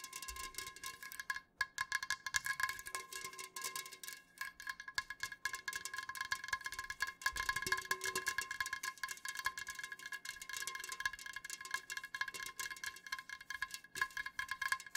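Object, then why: Aluminum drink can. Fingernails tap rapidly on the sides of an unopened, full, upright Jumex aluminum juice can, with a hand partly covering the can. A continuous stream of quick, dry clicks carries a bright metallic ring with steady tones around 1.1 and 1.7 kHz, and the taps stay quiet and even throughout.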